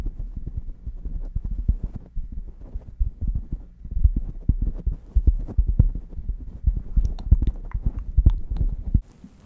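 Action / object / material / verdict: scrape / knit fabric beanie stretched over a microphone / knit fabric / none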